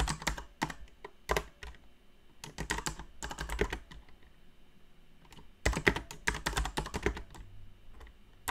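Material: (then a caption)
Plastic. Long painted nails tap and press the plastic keycaps of a backlit mechanical keyboard in continuous typing. Bursts of sharp, bright clicks with short dull thumps underneath come in quick clusters separated by brief quiet gaps, and each keystroke dies away almost at once.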